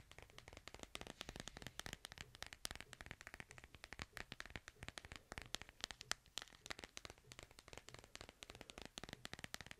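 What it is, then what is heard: Smartphone in plastic case. Fingernails rapidly tap and scratch the back of a white plastic case on a smartphone held upright. A dense run of sharp, bright clicks and scrapes follows each other with almost no ring, centered around 1.8 kHz over a soft, quiet background.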